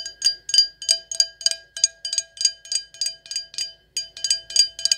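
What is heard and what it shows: An empty, clear stemless wine glass with gold decoration, held in the hands, is tapped with long acrylic nails about 20 times in quick, uneven succession. Each tap gives a bright, high glassy ping with a faint lower tone that dies away quickly.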